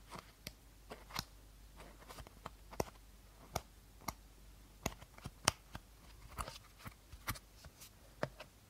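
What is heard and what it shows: Short nails tap and scratch the body of an empty clear plastic bottle held horizontally. Irregular sharp, crisp clicks and brief scratchy crackles ring bright and die out almost instantly over a low, steady background hiss.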